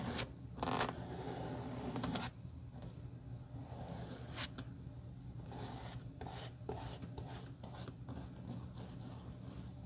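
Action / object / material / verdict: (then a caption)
scrape / leather shoe sole brushed with a stiff bristle brush / leather / none. A hand-held black shoe's flat, solid leather outsole, with a reddish stain and wet glue on it, is brushed back and forth with a metal-handled stiff bristle brush that spreads the glue. Scratchy, bright bristle scrubs come in uneven strokes over a low, steady hum, louder at the start and then softer and continuous.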